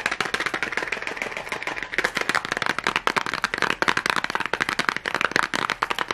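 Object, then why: Small cardboard matchbox. Long glittery nails and fingertips tap rapidly on the sides of a small red cardboard matchbox held up close. The result is a dense, fast stream of dry, crisp clicks and taps with almost no low end. Each tap dies away almost instantly, its bright energy centered around 1.7 kHz.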